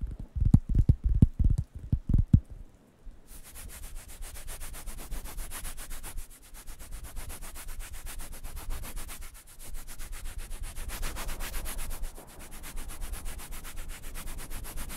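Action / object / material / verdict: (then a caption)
scrape / thin wooden coaster pad / wood / none. A large, thin, round, light-brown wooden coaster pad, solid and flat, is held in one hand near the microphones while fingertips and nails rub and scratch its surface. It opens with a few quick, deep taps, then settles into a steady, dense scratching with a bright hiss over a low rumble that swells and eases in waves.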